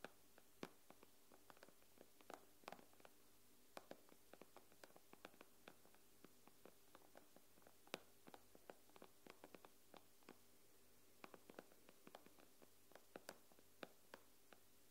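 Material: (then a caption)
Glass. Long nails on both hands tap rapidly across the glass screen of an iPad, making a quick, irregular run of about 42 sharp, bright clicks that stop almost instantly. The taps are quiet, with a faint steady low hum beneath them.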